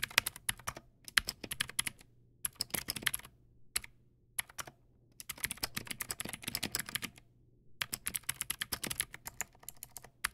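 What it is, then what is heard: Plastic mechanical keyboard, clicky switches. Fast fingertip typing on a Teamwolf Zhuque+ X08 backlit mechanical keyboard with white plastic keycaps and clicky blue switches. Sharp, bright clicks come in quick bursts separated by short pauses, each dying away almost instantly over a faint low hum.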